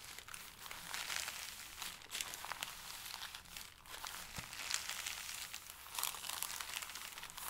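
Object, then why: Stack of thin paper sheets. Flat hands and fingertips rub and press a stack of thin pale paper sheets, making steady, dense crinkling and rustling. The sound is quiet, bright and hissy, with almost no low end, and swells in soft bursts throughout.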